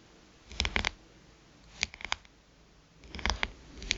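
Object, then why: Smartphone glass screen. Long pointed nails tap rapidly on the glass screen of a small black smartphone lying face up. The taps come in three quick bursts of sharp, bright clicks with a faint scratchy edge, each dying out instantly with no ring against a quiet background.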